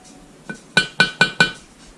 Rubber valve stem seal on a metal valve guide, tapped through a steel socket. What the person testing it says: that changed the sound of it. That sounds solid.